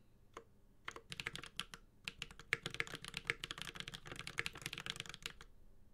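A Space65 Cybervoyager 65% mechanical keyboard with Holy Panda switches, an aluminum case and ABS keycaps is typed on continuously with the fingertips of both hands. About 27 crisp, bright clacks come in quick, uneven bursts after a lone opening tap, each dying away instantly with almost no ring. The sound is quiet and dry, with little low thump.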